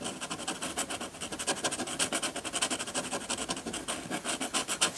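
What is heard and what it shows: A metal dip-pen nib, held in the fingertips, scratches rapid hatching strokes across a sheet of textured white drawing paper. A quick, steady run of dry, bright scratches with almost no low end, each stroke brief and centred around 3 kHz.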